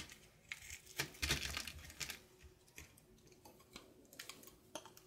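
A light blue solid soap bar held in hand is carved with a red-patterned knife, sending shavings off in curls. Crisp, bright scraping and crackling cuts come in uneven bursts, with the loudest stretch near the second second, then fade to softer, quick nicks.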